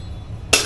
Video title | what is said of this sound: A&M Moto Toys - Episode 34 - A & H Mechanical Services Lie on repairs needed! | it's the wheel that's gone bad. See, it rattles. The other one was solid.